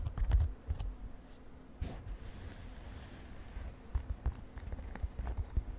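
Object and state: Glitter fabric cosmetic pouch.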